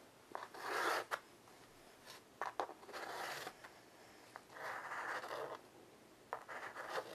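White chalk held in the fingers scratches lines across a flat black chalkboard with a wooden frame and solid board, lying on the carpet. Quiet, dry scratchy strokes come in bursts, some long and steady, others short and sharp, with a bright gritty hiss and no low end, separated by near-silence.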